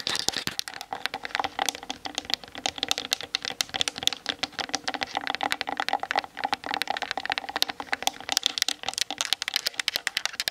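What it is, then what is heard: Plastic camera body and lens tapped with nails. Long nails tap quickly on the hollow plastic body and 18-55mm plastic lens of a Canon DSLR resting on a tripod. The result is a dense, continuous stream of crisp, bright clicks with almost no low end. Each tap dies away instantly.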